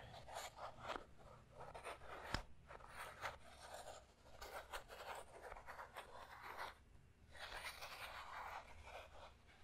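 A small transparent plastic puzzle cube with stickers is scratched and tapped with fingernails while its layers are twisted by hand. Bursts of dry, scratchy clicking and scraping fill the clip, with one sharp tap standing out near the middle against a quiet low rumble.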